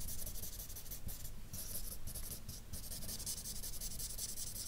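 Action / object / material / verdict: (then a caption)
scrape / felt-tip marker on paper sheet / paper / none. An alcohol marker with a broad felt nib, held at the fingertips, strokes and rubs shading across a map drawn on a large flat sheet of white drawing paper on a table. It makes a steady, bright scratchy hiss of back-and-forth strokes over a low, soft rumble, with brief lulls where the nib lifts between passes.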